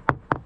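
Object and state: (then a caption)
Hollow, wet delaminated fiberglass deck core. A hammer taps three times on a soft spot of the fiberglass deck of a C&C 35 Mk III CB sailboat, giving short, dull, hollow knocks with little ring. The deck core there is wet and delaminated near leaking track bedding, with moisture readings in the red zone.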